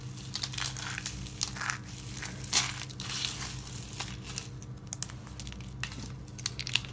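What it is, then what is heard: Dry soap flakes being crushed. Hands with lavender nails grab handfuls of thin, brittle pink and white soap chips from a dry pile and squeeze and crush them in their fists. Dense, bright crunching and crinkling crackles on and off throughout, with a few sharper snaps, over a steady low hum.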